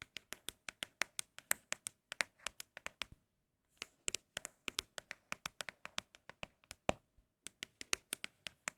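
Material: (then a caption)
Cardboard. Empty cardboard Apple product boxes are tapped rapidly, giving about 43 short, dry, bright knocks with a faint hollow tone around 613 Hz. A brief pause a little past three seconds splits the quick tapping runs. The empty boxes give an especially pleasing, crisp tapping sound.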